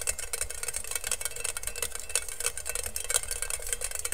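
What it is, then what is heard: Stainless steel colander, fingertip tapping and scratching. Fingertips and nails quickly tap and scratch the perforated base of a medium, hollow, empty stainless steel colander held upside down near the mic. A dense stream of rapid, bright metallic ticks and scrapes with a faint high ring runs over a steady low rumble.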